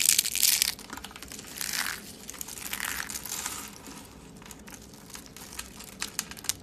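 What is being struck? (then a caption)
Rolled soap petals crushed by hand. Thin ribbons of dry purple soap rolled into rose shapes, solid and brittle, are crushed and crumbled between the fingertips over a wooden table. A loud, bright crunching burst opens the clip, followed by further crackling surges that thin into scattered dry, high crackles and snaps.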